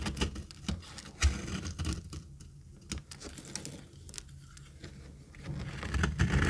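A metal knife cuts and scrapes dry flakes off a rectangular, very dry, solid orange retro soap bar held in the palm. The sound is a quick, irregular run of crisp scratches and sharp clicks over a low rumble, with short bursts of louder crackling near the start and end.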